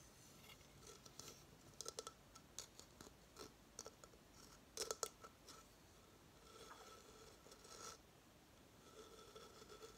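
Fingernails scratch and rub the rough, fibrous surface of a hollow coconut shell hamster hideout with its shell stand, first as it sits on a table and then as it is tilted in the hands. Quiet, bright scratches and short, sharp ticks come in uneven bursts over a faint hollow tone. They give way to softer, continuous rubbing in the later seconds.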